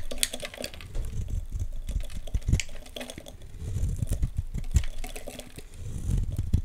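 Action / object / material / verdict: scrape / bar of soap scraped with a blade / soap / none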